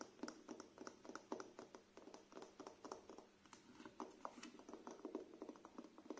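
Fingernails scratch and tap across the front cover, spine and back cover of a thick, solid paperback book with a glossy printed paper cover, held up. The result is a quiet, rapid run of crisp, mid-pitched taps that die away quickly, with soft scratchy rustling between them.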